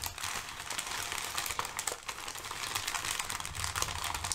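Layered thin brown kraft packing paper resting on a fluffy rug is pressed flat, then gathered and crinkled with fingertips and nails. The result is a dense, steady stream of bright, crisp crackles and rustles, with sharper snaps scattered throughout and a faint low rumble underneath.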